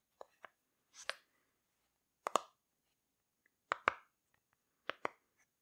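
A rainbow heart-shaped silicone pop-it fidget toy is held up while its bubbles are pressed and popped with fingertips. The result is short, dry, quiet pops, mostly in quick pairs, with a bright snappy attack, a mid-pitched body and almost no ring.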